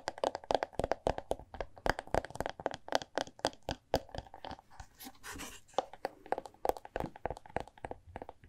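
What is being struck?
Large hardcover book.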